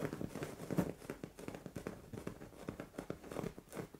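Long orange nails scratch a soft, padded white fabric bed cover, a pillow or duvet, while hands rub across it. The result is a quiet, dense run of quick scratching and rustling strokes, muffled and mostly low to mid in tone, with little high brightness.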